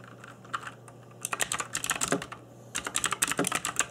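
Fingertips in black nitrile gloves type on a cheap RGB-backlit mechanical keyboard with plastic keycaps, producing bright, sharp, short clacks. After about a second of near silence over a steady low hum, the taps come in two rapid bursts separated by a brief pause.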